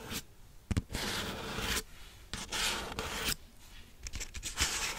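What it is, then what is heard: Paper cup scratched with nails. Long nails scratch and rub the surface of a large, hollow McDonald's waxed-paper soda cup with a plastic lid and straw, held close to the mic. Bright, rasping strokes about a second long alternate with quieter gaps, and sharp taps mark the start of some strokes.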